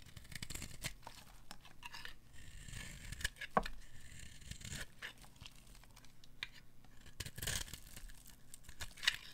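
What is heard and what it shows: A metal blade scrapes and carves thin curls off a solid, dry white bar of soap held in a hand with long manicured nails, the shavings falling away. Dry, papery scraping and tearing bursts come one after another with bright, crisp texture, broken by a few sharp clicks.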